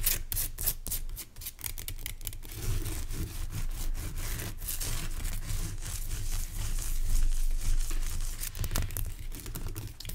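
Fingernails scratch and tap across the top and sides of a large, pale rock salt lamp made of solid, rough crystal. Quick, dry clicks and gritty scraping sound over a steady low rumble, with the taps coming in a loose, uneven rhythm throughout.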